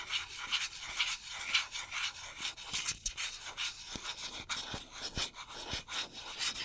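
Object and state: Metal aerosol can scratched with fingernails.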